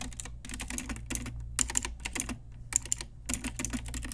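Long nails and fingertips type on a pink Ajazz retro typewriter-style plastic mechanical keyboard with round plastic keycaps. Quick bursts of bright, clicky clacks come in uneven runs separated by short pauses, over a steady low hum.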